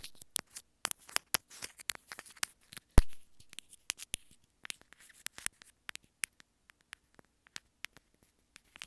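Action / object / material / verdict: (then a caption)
tap / small plastic earphone inline remote / plastic / none. Long nails tap and scratch the hollow housing of a small white plastic earphone inline remote, making a run of about 30 quick, dry clicks and brief scrapes. The clicks are short and bright, spaced irregularly, with one louder knock near the three-second mark that leaves a short low thump.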